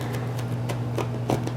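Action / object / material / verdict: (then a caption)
tap / baked flour flatbread shell / baked dough / crisp. A puffed, baked Chinese-style hotteok made with flour is poked open with a finger, breaking its thin, crisp shell. Four light, dry crackles sound over a steady low hum, with the last crackles slightly louder. Inside, the bread is hollow apart from melted honey.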